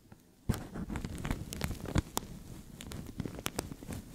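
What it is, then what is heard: Thin plastic bag crinkled and scratched. A translucent thin plastic bag stretched over a microphone is scratched with fingernails and crinkled with fingertips. After a quiet start, a sharp crackle sets off a dense, continuous rustling with bright snapping clicks and low, close-up thumps against the mic.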